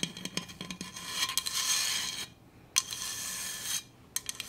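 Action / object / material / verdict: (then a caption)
scrape / stainless steel insulated bottle / stainless steel / none. A Hydro Flask stainless steel insulated water bottle is tapped and scratched, giving bright, metallic clinks. Sustained high scratching passages alternate with short pauses, and a final burst of quick taps closes the clip.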